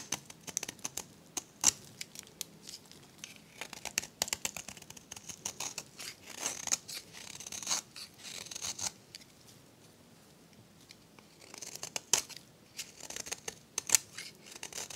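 A metal blade scrapes crumbly flakes off a solid, dry, varnished turquoise soap bar held in the hand. Bright, crisp scratching and crackling comes in quick bursts of many short strokes, with a brief quiet pause midway before the scraping resumes.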